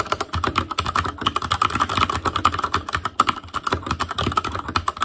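Both hands type with their fingertips on an Asus Claymore Core backlit mechanical keyboard with plastic keycaps. The result is a fast, continuous stream of short, crisp clacks, each with a clicky tone near 1.3 kHz and a little low thud underneath, and no other sounds.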